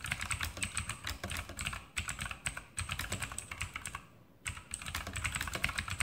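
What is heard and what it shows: Fingertips type continuously on a full-size RGB Sharpshooter X2000 mechanical keyboard with Outemu blue switches and plastic keycaps on a metal top plate. The result is a rapid stream of bright, crisp clicks with a low thock under each press. The typing pauses briefly past the four-second mark, then resumes at the same pace.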